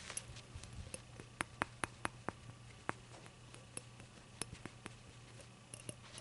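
Long acrylic nails tap and scratch the glossy surface of a small, hollow, rainbow-glazed ceramic novelty shot glass that appears empty and is held on a towel. About sixteen quick, clicky taps with a faint ring near 1 kHz die out almost instantly, over soft scratching and a steady low hum.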